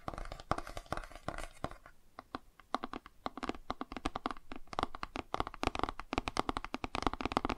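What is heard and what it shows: A cardboard board book is held flat while fingertips and nails scratch and tap along its page edges and spine. Dozens of quick, dry taps and scratchy rasps cluster in busy bursts, ease into a quieter, sparser stretch around the two-second mark, then build back to dense tapping. The sound is close and crisp, with mostly mid-range texture and a light bright edge.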